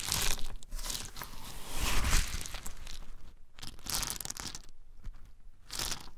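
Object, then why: Handful of in-shell pine nuts. Small, hard-shelled whole pine nuts held in both palms are rubbed and stirred with the fingertips, producing a dense, crunchy rattle of clicking shells. The sound comes in bright swelling bursts with a low rumble underneath, fading briefly between handfuls before picking up again.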